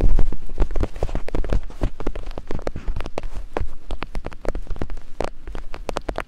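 Two wooden picks held by long-nailed hands tap and scrape over silicone ear-shaped binaural microphone capsules. The result is a rapid, steady flurry of short, dry taps with little ring. Each tap lands as a deep, muffled thump that sounds close-up.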